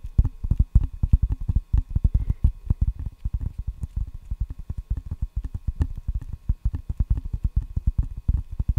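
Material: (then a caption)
Rubber, wood. Fingertips tap rapidly on the solid red rubber face of a wooden ping pong paddle held up to the mic with both hands. The result is a quick, uneven patter of dozens of short, dull, low thumps that die away almost instantly, with no bright edge.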